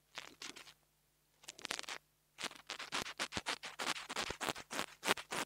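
A metal nail tool tip scratches the metal grille of a small black plastic mini lavalier microphone. Short, bright, dry scratching strokes come in quick bursts, with brief pauses early on, then a steadier run of strokes to the end.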